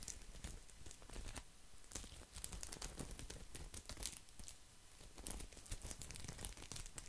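A round, coiled, woven straw placemat is scratched with fingernails close to the mic. The result is a continuous stream of dry, crackling, rustling scratches with a bright, crisp edge and a soft low rumble underneath.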